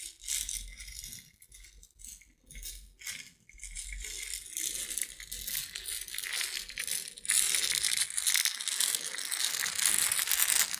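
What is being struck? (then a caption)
Small clear jar filled with tiny beads. A small transparent jar with a silver lid, full of tiny beads or seeds, is held in both hands and shaken and tilted so the contents rattle. Short bursts of bright, hissing rattle come and go at first, then the sound settles into a steadier patter. In the last few seconds it becomes a louder, denser rattle.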